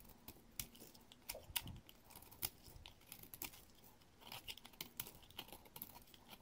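A solid green bar of soap held in the hand has its edge shaved with a dark metal blade, curling off flakes. A quick series of soft, bright, crisp scraping cuts is heard, each short and dry, with no ring after it.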